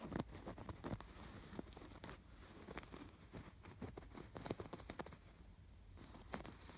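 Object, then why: Stuffed canvas pillow with yarn embroidery. Fingertips scratch and brush along the raised yarn embroidery on a stuffed canvas pillow. Soft, dry scratching strokes come in quick bursts over a quiet, low rustling bed, each stroke ending almost at once with no ring.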